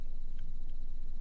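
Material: Nothing is struck.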